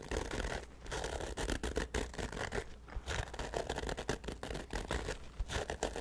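A hollow black nylon fabric bag with a handle on top is held by the handle over the microphone and scratched and rubbed with the fingertips. The result is a dense run of short, crackly scratching and rubbing bursts with a low rumble underneath and brief dips between strokes.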